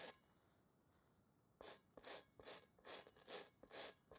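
A gloved hand scrubs a large, hollow, textured rubber kickball with a toothbrush while holding it over a bowl. After a brief scratch and a quiet pause, bright, hissy bristle strokes rasp against the rubber in a steady, quick back-and-forth rhythm, each one short and dry.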